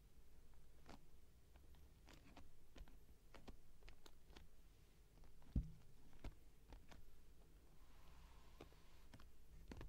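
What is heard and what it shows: A medium printed cardboard Squishy Squishie Squish'ems box, closed with its contents inside and lying flat on a velvet cloth, is tapped with long painted fingernails and fingertips. Quiet, dull, low taps and short crisp clicks are heard, with one louder knock near the middle. Each tap dies away almost instantly.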